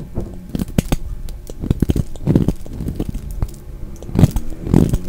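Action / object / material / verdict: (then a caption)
scrape / glycerin soap bar / glycerin soap / none. A solid red translucent glycerin bar of soap, held in the hand, is scraped and shaved with a utility knife blade. Dense, dry crackling scrapes and short clicks come in uneven bursts, mostly low in tone, with a few louder shaving strokes near the end.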